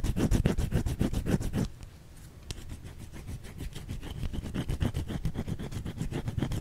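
Long fingernails scratch a white solid soap bar held in the hand, making quick, rhythmic, dull rasping strokes with a low, muffled body. The strokes break off briefly for a quieter stretch of soft rubbing, then resume at a steady pace until the end.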